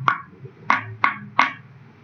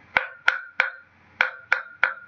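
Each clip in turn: First: covered resonating object, dull. Second: uncovered resonating object, ringing.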